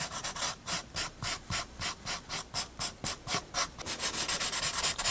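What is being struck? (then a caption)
Paper sketchbook sheet with graphite, rubbed by a paper blending stump. A paper blending stump is rubbed over the graphite shading on a penguin's head and chest on a paper sketchbook page. Quick, rhythmic back-and-forth strokes, about four per second, make a soft, bright, hissing scratch that runs together more densely toward the end.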